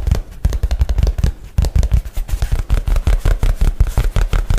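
A light blue nylon shoulder bag, held flat against the side of the microphone, has its fabric tapped and scratched quickly with fingernails. Fast, uneven, deep muffled thumps pile on top of one another, with a bright papery scratch running between them.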